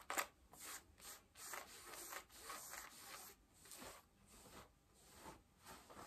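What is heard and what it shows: Long nails scratch the back pockets and waistband of pale yellow denim jeans. Quiet, repeated rasping strokes come in bright, airy bursts with a dry fabric texture and almost no low end.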